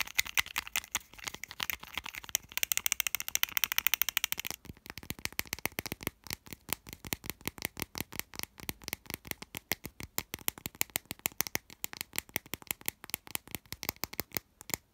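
Fingertips and nails scratch and tap along a hollow plastic whiteboard marker with a printed label. For the first few seconds there is a dense, bright scratching rattle. It then gives way to a fast, steady stream of sharp, dry plastic clicks with almost no ring.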